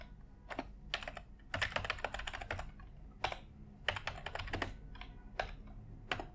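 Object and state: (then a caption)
Plastic computer keyboard being typed on. A white full-size plastic computer keyboard on an office desk is typed on continuously with the fingertips of both hands. Rapid bursts of sharp, bright plastic key taps come in quick clusters separated by short pauses, each click dying away almost instantly over a faint low background rumble.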